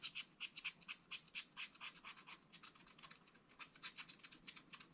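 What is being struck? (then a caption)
Wax-coated scratch art card scratched with a wooden stylus. A wooden stylus scratches the coating of a flat black-coated scratch art card in a spiral pad. Quiet, bright, dry scratching strokes repeat at an uneven pace of about two per second, each short and crisp with almost no low end. The strokes soften in the middle stretch before growing sharper again toward the end.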